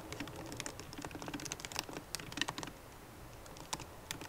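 Fast typing with long nails and fingertips on a MacBook Pro keyboard, with plastic keycaps set in an aluminum body. Quick, dry, bright clicky taps come in a dense, uneven stream, each dying out almost instantly. The typing thins to a brief lull near the three-second mark before a few final sharp taps.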